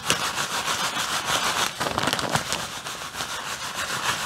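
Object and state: Plastic bag of artificial snow.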